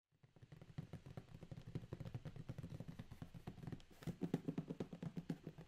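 A closed, medium corrugated cardboard Amazon shipping box with tape and labels, contents unseen, is tapped and drummed with the fingertips of both hands and then held up. The result is a rapid, uneven run of dull, hollow, low thumps at about four per second, each dying away almost instantly. The drumming grows louder and punchier in the last couple of seconds.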